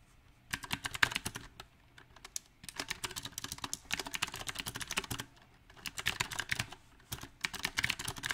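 Fingertips of both hands type on a small 68-key backlit mechanical keyboard with round typewriter-style plastic keycaps set on a silver metal plate. Uneven bursts of quick, bright, sharp clicks and clacks are broken by brief pauses, and each keystroke dies away almost instantly.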